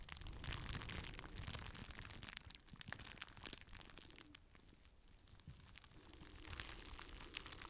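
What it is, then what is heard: Plastic bubble wrap sheet. Fingertips squeeze and pop the bubbles on a clear plastic bubble wrap sheet and crinkle the sheet. The result is a quiet, steady stream of dry crackling and crinkling, dotted with sharp, bright pops. It is busiest at the start, eases off in the middle, and picks up again toward the end.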